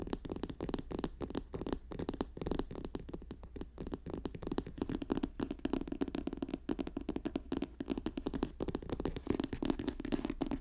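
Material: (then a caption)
Paper. Fast tapping and scratching on a paper notebook produces a dense, continuous stream of quick, dull taps with a papery scratch. The sound sits in the low-mid range around 300 Hz with little bright content, and each tap dies away almost instantly.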